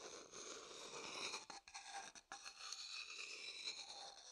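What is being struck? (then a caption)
Wooden bowl and wooden stick. A medium, dark-brown, hollow wooden bowl, empty and held in one hand, is tapped and scraped inside with a wooden stick. A steady, bright, hissy scraping runs throughout, with almost no low end, broken by two brief quiet gaps in the middle before the scraping resumes.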